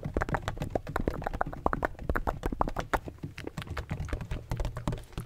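Fingertips tap rapidly on a large, hollow, black donut-shaped plastic bottle with a textured surface and a red cap. The result is a dense run of short, dull, clicky knocks that stop almost instantly, with a deep hollow low end and little brightness.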